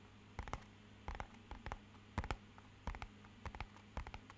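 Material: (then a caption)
Cardboard. Fingernails and fingertips tap rapidly on the faces and edges of a small, rigid, matte-black rectangular cardboard box that is hollow. Short, dry clicks with a hollow thud land in about seven quick clusters, each dying away almost at once. A faint low hum sits steadily underneath.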